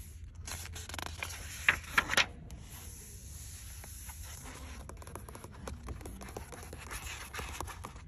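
Long acrylic nails scratch and rub along the printed paper pages of an open paperback book, also turning and riffling them. A dry, crisp scratching and rustling runs throughout, with a few sharper, louder scrapes near the two-second mark before it settles into steady soft paper scratching.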